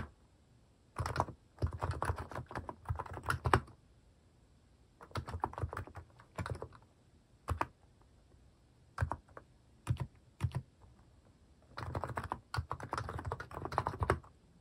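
Fingertips type on a cream Hanmumu plastic mechanical keyboard fitted with plastic cat and paw keycaps. Bursts of rapid keystrokes alternate with pauses and a few single key presses, each stroke a short, dry, low-pitched clack.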